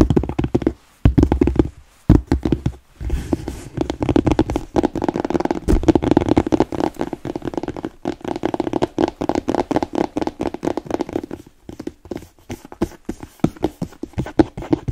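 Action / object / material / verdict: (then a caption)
tap / smooth leather boot / leather / none. Long nails tap and knock on the toe and upper of a hollow, empty black smooth-leather boot with yellow welt stitching. A rapid, uneven stream of short, dull, muffled taps with a low, hollow body fades quickly, with a few brief pauses between bursts.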